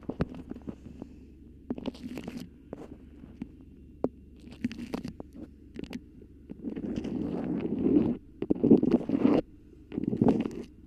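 A yellow bird-print beeswax-coated cotton food wrap with pinked edges, draped over a microphone, is scratched, gripped and crinkled by long pink nails. Sharp taps and scratches open the clip, then give way to longer bursts of waxy crinkling and rubbing.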